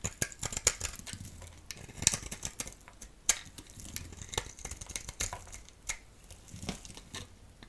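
A solid striped bar soap held in the hand is shaved into flakes with a utility knife blade. Quick, crisp scraping cuts come in an irregular stream of short, bright clicks and crunches, with a few sharper peaks. Soft crumbly rustling fills the gaps between strokes.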